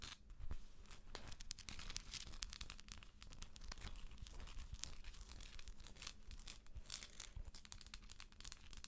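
A hollow plastic galaxy moon lamp, held in both hands, is tapped and scratched with long acrylic nails. The result is a dense run of quick, dry clicks and scratchy rasps with bright, crackly edges over a low rumble. Each tap dies away almost instantly.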